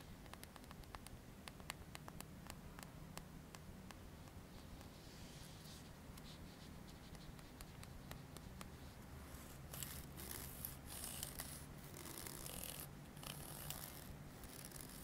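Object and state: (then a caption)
Plastic comb. A long, solid, dark green plastic comb with fine teeth is held in the hands while its teeth are strummed with the fingertips. Soft, sharp clicks tick out at a steady pace at first, then give way to denser, brighter, scratchy bursts of strumming over a faint low hum.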